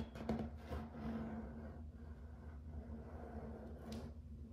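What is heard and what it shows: Fingertips and nails tap and scratch across a grey and white wood-grain plank laminate floor. Soft, quiet taps and scraping rubs sound over a steady low hum.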